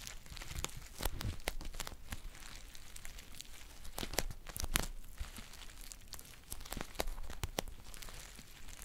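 A green foil tea pouch held close is crinkled with fingers and long nails, giving a steady papery crackle. Sharp, bright crinkles and snaps burst out over a low rustle throughout.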